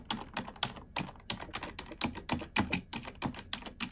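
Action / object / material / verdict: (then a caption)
tap / plastic computer keyboard / plastic / none. A black plastic computer keyboard is typed on with long nails and fingertips. A steady run of quick, crisp clicks and taps, each bright and dry with a soft low thump under it, dies away almost at once between keystrokes.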